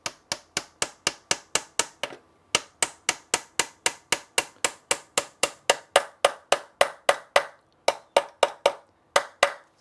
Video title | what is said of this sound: Sunday afternoon Stream Catch up and finishing of some odd jobs. | it's a soft sound and then it goes hard as soon as you get that solid sound you know it's home